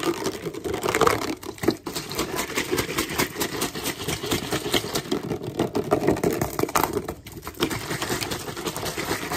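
A clear plastic drinking bottle with a blue cap, hollow and partly filled with water, is rapidly tapped and squeezed with fingertips and nails. This makes a steady, dense stream of quick plastic clicks and crinkles with a hollow midrange tone around 490 Hz, each tap dying away almost at once. The flurry runs throughout with only brief lulls.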